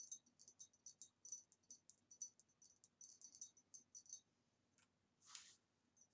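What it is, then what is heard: Glass vase. Fingernails tap quickly on a green retro glass vase with a swirly pattern from about the 1960s. The taps come as rapid, quiet, bright clicks with a short high ring, followed by a soft breathy swish near the end. It gives a very nice tapping sound.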